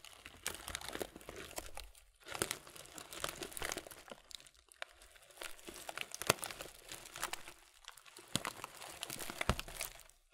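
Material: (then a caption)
Thin plastic. A medium, thin, clear plastic muesli bag full of granola clusters is held in both hands and squeezed and crinkled with the fingers. Dense, bright crackling rustles come in slow waves with brief pauses between. Crunchy clicks are mixed in as the clusters shift inside.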